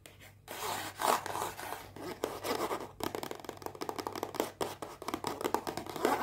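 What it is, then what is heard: Cardboard perfume box. Long painted fingernails tap and scratch a small white rectangular cardboard perfume box, unwrapped and still closed. Dense, dry scratching and tapping with quick short clicks fills the clip, with a brief pause near the start and another around three seconds.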